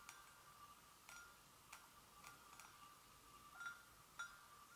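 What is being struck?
Porcelain gravy boat.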